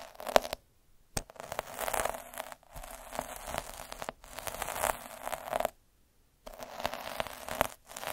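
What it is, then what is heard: Metal needle roller rolled over felt. A metal-needle roller held by the fingertips is rolled across a soft, flat red felt square in close-up. It makes dense, crackling scratches with a bright hiss, coming in several passes separated by brief silences.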